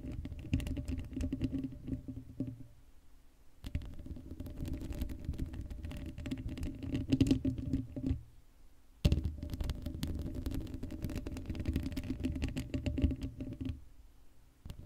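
Long blue acrylic nail tips scratch the top of the hollow black woven metal mesh grille of a Blue Yeti microphone head with no foam cover. The scratching comes in three dense bursts of rapid, crackly patter, each separated by a brief near-silent pause. The sound is close and heavy in the lows, with a faint steady hum underneath.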